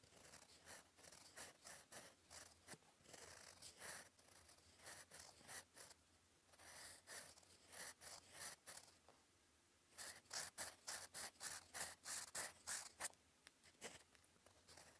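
A gold metal fountain pen nib, held in fingers, writes cursive on a flat sheet of cream lined paper resting on a desk. It makes quick, bright, scratchy strokes at roughly three per second, in bursts with brief pauses. Each stroke is dry and crisp, with almost no low end or ring.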